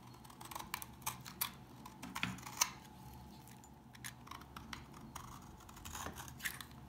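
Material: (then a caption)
Soap. A blade carves crumbly shavings from a solid tan, dry brown household soap bar. Short, dry, bright crackling scrapes come in an irregular series of quick cuts that stop dead with no ring, over a faint low steady hum.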